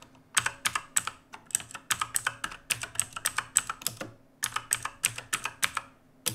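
Both hands type with their fingertips on an RGB-lit black mechanical keyboard with plastic keycaps, resting on a wooden desk. It makes a fast, uneven run of sharp, bright clacks with a faint high ping on many keystrokes. There is a brief pause just past the four-second mark before the typing resumes.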